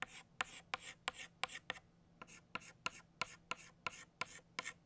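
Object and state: Chalk strokes on a chalkboard.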